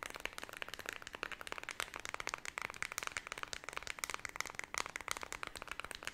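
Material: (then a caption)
Plastic. Long red nails quickly flick, tap and scratch the rubber buttons of a small, flat white plastic LED remote control. The result is a fast, dense stream of sharp, dry clicks and scratchy ticks that stop almost instantly, with a bright tone centered near 2 kHz and almost no low end.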